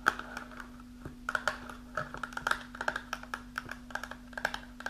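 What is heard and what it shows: Long pink nails tap quickly across the front and top edge of a small, closed, printed cardboard box of iron supplement, likely holding tablets. About 26 short, dry clicks sound in an uneven rhythm, with a mid-pitched papery knock near 1.4 kHz and almost no ring. A faint steady low hum runs underneath throughout.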